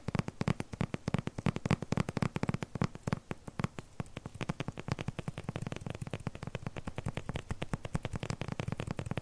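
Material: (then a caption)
Plastic film. Fingertips and nails rapidly tap and scratch the surface of a flat rectangular paper package wrapped in crinkly clear plastic film. The result is a fast, uneven stream of short, dull taps with a low thump, topped by faint crinkly clicks that die away almost instantly.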